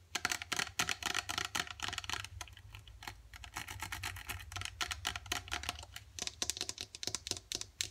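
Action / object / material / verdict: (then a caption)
tap / plastic squeeze tube with plastic cap / plastic / none. Long dark acrylic nails tap quickly along a partly filled gold plastic face mask squeeze tube and its white plastic cap. The result is a fast, uneven stream of sharp, bright plastic clicks that stop almost instantly, over a steady low hum.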